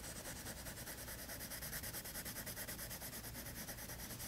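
A teal wooden colored pencil shades a page of toned tan drawing paper in a spiral-bound sketchbook lying flat on a table. It makes a continuous bright, scratchy rubbing with a quick back-and-forth stroke rhythm, steady and soft throughout.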